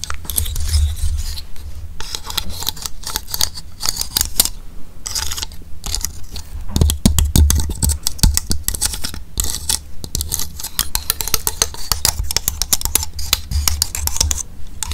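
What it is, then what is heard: Painted pine cone. A large pine cone sprayed silver, with solid natural woody scales, is held in one hand close to the microphone while long pink fingernails tap and scratch across its scales. The result is a continuous stream of rapid, crisp, dry clicks and scrapes with bright high-frequency texture over a steady low hum.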